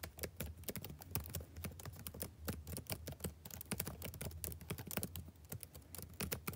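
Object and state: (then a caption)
Laptop keyboard typing. Fingertips type steadily on the black plastic keys of a backlit laptop keyboard, making a rapid run of short, dry clicks and taps over a steady low hum. Each keystroke stops almost at once, with no ringing.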